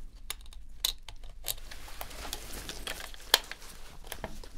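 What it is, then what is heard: Plastic game controller being scraped. A metal dental pick scrapes along the seams and grips on the back of a hollow white plastic PS4 controller while gloved hands turn it. Quiet, dry scratching and crinkly ticks fill the clip, with bright, crisp scrapes and one sharper click standing out before the sound settles back to soft scraping.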